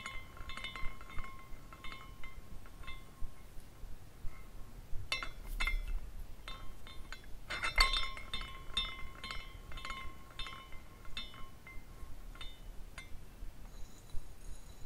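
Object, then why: Glass carousel ornament with hanging glass pieces. A small clear glass carousel ornament with hanging glass horses on a rainbow glass base is spun by a hand at the top, so the hanging glass pieces swing and clink together like wind chimes. Irregular bright, tinkling clinks ring briefly around 1 kHz over a low background rumble, with denser clusters of clinking near the middle of the clip.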